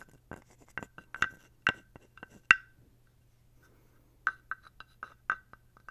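A thin wooden stick scrapes and taps along the ridged back of a small, dark carved wooden toad figurine held close to the mic. Short, dry woody clicks and ratchety scrapes come in two clusters, with a pause between them. Each has a pitched, hollow knock around 1.5 kHz and a quick, bright attack that dies away almost at once.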